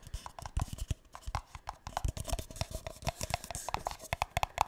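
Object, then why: Paper cup. A single empty light green paper cup, hollow and held close to the mic, is tapped and scratched with fingertips and nails. Quick, dry, hollow taps thump low and ring briefly with a mid-pitched tone, mixed with faint bright scratching. They come in a rapid, uneven stream throughout.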